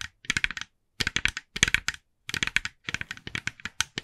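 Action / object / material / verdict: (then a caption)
tap / hollow plastic jack-o'-lantern decoration / plastic / none. Long nails on both hands tap rapidly on the face of a hand-sized, hollow, glossy orange plastic jack-o'-lantern decoration. The taps come in quick bursts of bright, dry, clicky ticks, separated by short silences, with almost no ring after each one.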